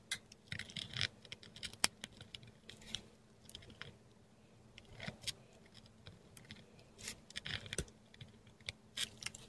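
A metal dip pen nib scratches across a flat sheet of textured Korean paper as it writes Thai letters in ink, heard close-up. Quick, dry, bright scratchy strokes come in irregular clusters separated by short quiet gaps, with a faint low hum underneath.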